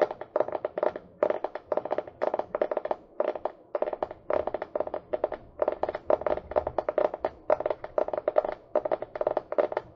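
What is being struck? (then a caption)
Small hardcover book, board and paper. Fingernails tap and scratch on the cover of a small, solid hardcover book, "All my friends are dead," held upright near the mic. Quick bursts of dry, clicky taps around a mid-range pitch near 600 Hz stop almost instantly, with scratchy texture between the clusters.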